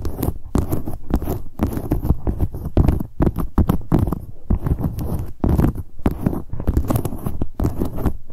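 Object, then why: Leather handbag. Long acrylic nails tap and scratch the front of a medium, hollow black leather handbag. The result is a rapid, uneven patter of short, dull thuds with a low body, mixed with brief bright scratching between the taps.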